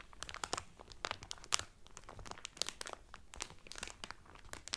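Fingers and nails rub and crinkle thin plastic cellophane wrapped around a flat, folded cotton towel from a Carnival cruise. Dense, bright crackles and snaps come in quick irregular bursts with almost no ring, over a low, quiet background.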